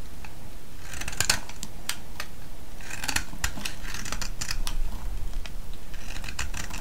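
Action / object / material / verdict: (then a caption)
scrape / bar of soap scraped with a metal blade / soap / none. A solid yellow vintage soap bar, held in the hand, is shaved and scraped with a metal blade so flakes fall away. Bright, crisp scraping strokes and sharp crackling ticks come in bursts over a steady low rumble.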